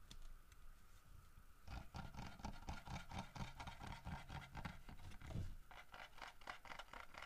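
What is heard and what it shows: Fingertips scratch and tap the head and the fish of a large, solid carved wooden bear figurine holding a fish, while the statue is handled and turned. After a faint, quiet opening, a dense run of soft, dull, low knocks sets in, mixed with light scratchy rustling. The taps come in an irregular patter and die away quickly.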